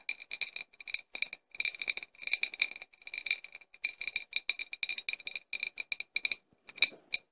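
A medium clear, flask-shaped embossed glass bottle with a light cork-type stopper, hollow and apparently empty, is held in one hand and tapped and rattled with long acrylic nails. Quick bursts of bright, dry clicking and clattering come in rapid clusters with almost no ring and no low end, with a steady high glassy tone running through the taps.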